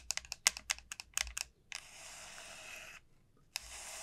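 Long nails tap a large, elongated dried bottle gourd with a hard, hollow shell, making a quick run of about a dozen crisp, bright clicks with almost no ring. Then the nails scratch steadily across its surface, giving a dry, hissing rasp that pauses briefly and starts again.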